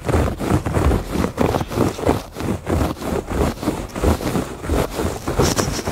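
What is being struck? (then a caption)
Woven fabric rug. Fingertips and nails scratch back and forth across the weave of a woven fabric rug. It makes a soft, dull, rough rustle, mostly low in tone with little brightness. The strokes come in steady, repeated bursts, each fading quickly.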